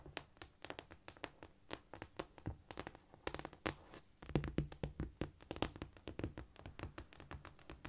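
Fingernails scurry, tap and scratch across a cork floor in a rapid run of short, dull clicks and soft scrapes. The sounds are quiet and low-heavy, each dying away almost instantly with no ring. A slightly louder, busier patch of tapping comes about halfway through.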